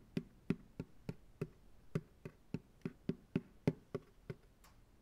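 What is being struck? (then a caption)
Plastic ice cream pail, upside down. A fingertip taps on the bottom of an empty white plastic ice cream pail resting upside down on a lap. About sixteen short, evenly spaced hollow thuds sound, each dull and low-pitched with almost no ring.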